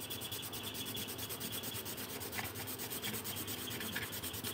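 A pink pencil or marker is rubbed back and forth across a thin paper colouring sheet lying on a table while colouring. The result is a steady, bright, scratchy rubbing sound with a quick, even rhythm of strokes and no pauses.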